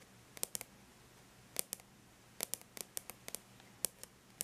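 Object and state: Aluminum laptop lid tapped with fingernails.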